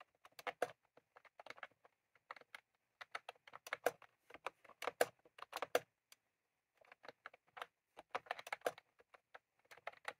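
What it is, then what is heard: Plastic mechanical keyboard being typed on. Both hands type rapidly with their fingertips on a full-size, retro-style plastic mechanical keyboard with round cream plastic keycaps and a plastic case, sitting on a desk. The result is quick, dry, clacky key taps in uneven bursts separated by brief pauses. The tone is mid-pitched with almost no low end, and each tap stops almost instantly.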